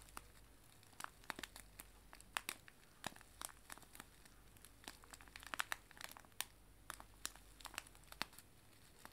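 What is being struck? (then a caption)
Cellophane bag of dried tea leaves. A small clear cellophane bag filled with dried loose tea leaves is held in both hands and crumpled and squeezed by fingers with long nails. The result is a quiet, steady run of sharp, bright crinkles and crackles that stop instantly, over a faint low hum.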